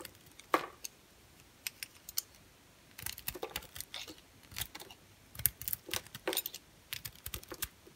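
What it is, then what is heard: Bar soap being carved. A solid rectangular bar of orange and cream striped soap is held in the hand and carved with a utility knife blade. The cuts make a quiet series of crisp, bright, dry clicks and short scraping crackles that come in irregular bursts, each dying away almost at once, with pauses of near silence between them.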